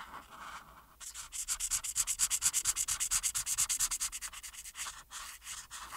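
A marker tip held in the hand rubs steadily back and forth over one small area of a thin printed paper coloring page resting flat on a solid board. After a soft hiss, about 33 quick, bright, scratchy strokes follow in a fast, fairly even rhythm, then fade to lighter rubbing at the end.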